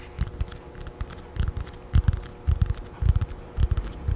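Long nails tap and scratch a thin children's paperback with a glossy blue and yellow paper cover and a solid paper block, held in both hands close to the mic. An irregular run of soft, dull, low thumps comes in small clusters, with faint brighter scratchy flicks between them. Each tap dies away almost at once.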